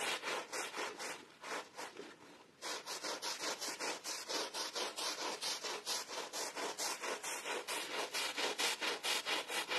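A worker in gloves scrubs a soapy, wet blue and red pile rug with a green plastic bristle brush. Quick, steady back-and-forth strokes make a bright, hissing, wet scratching sound with almost no low end, pausing briefly near the two-second mark before resuming at a fairly regular pace.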